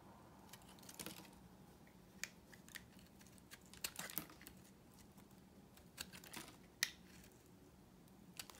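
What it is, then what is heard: Dry soap bar. A solid rectangular pink bar of dry vintage soap, held in the palm, is shaved and carved with a utility knife blade, producing crisp curling shavings. Quiet, sharp, bright scraping clicks and short crackling cuts come at irregular intervals, each dying away almost instantly over a faint steady low hum.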